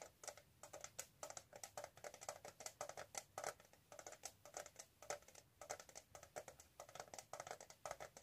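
Long manicured nails rapidly tap and scratch the lid and sides of a flat, rectangular, gold-colored metal tin with an embossed lid, held hollow in both hands. The result is a quick, uneven stream of short, dry clicks with a light metallic tone around 760 Hz and a bright, crisp top, each tap dying away almost instantly.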